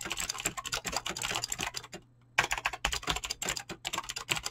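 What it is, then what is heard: Mechanical keyboard with PBT plastic keycaps. Fingertips type quickly on a mechanical keyboard with clicky green switches and PBT plastic keycaps, giving a dense run of sharp, bright clicks with little low end. The typing pauses briefly near the middle, then resumes at the same fast pace.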